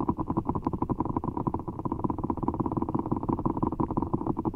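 Fingertips squeeze a giant orbeez ball, a large, full, soft ball of blue water gel beads in a clear rubber skin, held over the mic. A rapid, steady run of soft, squishy, wet squelches is heard, each short and muffled, with a low, thick body and no bright edge.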